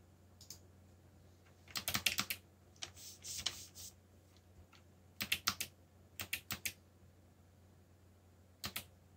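Fingertips type on a backlit mechanical keyboard with black plastic keycaps, producing short bursts of sharp, bright clicks in quick clusters separated by pauses. Each keystroke is crisp and dies away almost instantly, over a faint steady low hum.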